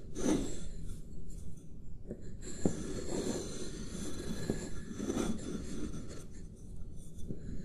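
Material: Paper.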